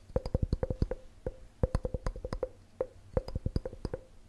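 A clear, hollow, empty glass measuring cup with red markings is held beside a microphone and tapped quickly with the fingertips and nails. The result is a fast, uneven run of short knocks, each with a low thump and a brief glassy ring around 500 Hz that dies away almost at once.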